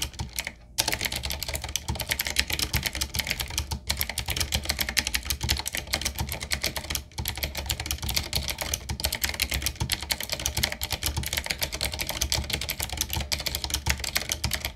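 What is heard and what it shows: A full-size retro typewriter-style mechanical keyboard with a solid body, round plastic keycaps on a dark metal plate and a wooden-looking frame is typed on fast with the fingertips of both hands. It makes a dense, steady stream of bright, crisp clicks and clacks with very short decay and a low underlying thump. A brief pause comes near the start and another around seven seconds.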